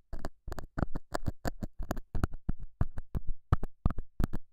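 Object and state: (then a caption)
Felt pad scratched and poked. A straight pointed metal scaler tip scratches and pokes the surface of a small, square, solid beige felt pad mounted over a small lavalier mic. The result is a quick, irregular series of short, dull, low scrapes and taps with very little ring, each burst dropping back into silence.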